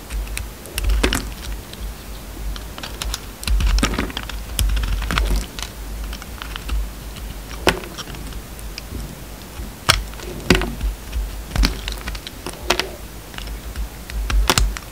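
A utility knife blade trims the edges of a solid pale green bar of soap with purple remnants. It makes a quick, irregular series of crisp cutting and scraping ticks with bright, short snaps that die away almost at once, over a steady low hum.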